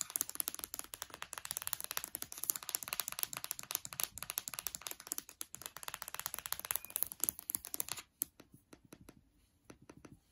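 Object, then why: Aluminium laptop palm rest and trackpad. Long dark nails tap rapidly on the aluminium palm rest and trackpad of a MacBook Air's lower deck, making dense, bright, dry clicks with almost no ring. The taps run in a fast, steady flurry for about eight seconds, then thin out into sparser, quieter taps until the end.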